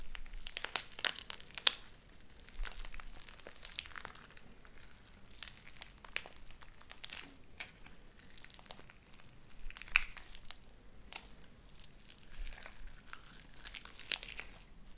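Light-blue sticky slime with white beads is stretched open and squeezed between both hands. It gives off a quiet, steady stream of bright crinkly crackles and sharp little pops, with a faint low hum underneath.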